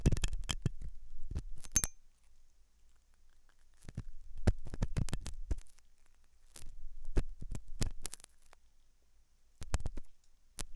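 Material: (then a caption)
Silicone. A hooked metal dental tool scratches inside the ear canal of a white translucent silicone ear model, likely on a binaural ear microphone, made of soft solid rubber. Three bursts of close, dry scratching and scraping come with sharp clicks between quiet gaps, heavy in low rumble with brief bright ticks.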